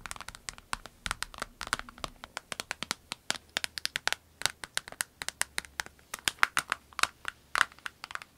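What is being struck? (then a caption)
Clear vinyl pencil case. Long nails tap and scratch a small clear orange vinyl pencil case, a transparent pouch with a snap flap and pens inside, before it is lifted. Dozens of quick, dry, bright clicks land close together with a faint crinkly scratching between them, each dying away instantly.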